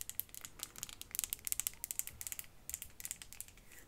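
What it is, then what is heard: Glass perfume bottle. Long fingernails tap a small glass perfume bottle with a faceted cap, held close and struck mostly on the cap. About two dozen quick, bright, crisp ticks come in an uneven patter, each dying almost at once with no lingering ring. The taps are quiet, with little low-end body.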